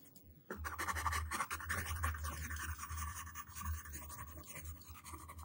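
A yellow wooden pencil tip scratches jagged letter strokes onto a flat white paper sheet lying on a table while the other hand rests on the sheet. After a brief near-silence, a steady run of rapid, uneven scratching begins, with a dry rasp centered around 1 kHz over a dull low rumble. It continues at a fairly even level until the end.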